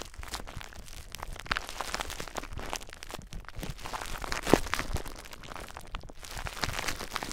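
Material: Plastic.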